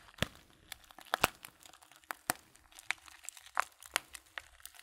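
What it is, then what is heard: Paper tea bag crinkling. A filled Blutorange paper tea bag is held in one hand near the camera while fingertips crinkle its paper edge. Quiet, bright, crisp crackles and small snaps come in an irregular stream, each dying away almost at once.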